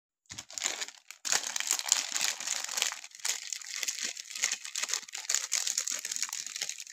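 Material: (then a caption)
Plastic film. Fingertips and thumbs rub and crinkle the thin plastic film wrapper on a solid, hand-sized pink Palmolive soap bar while opening it. The result is a dense, bright crackling and crinkling with almost no low end, broken by brief pauses near the start and around the three-second mark.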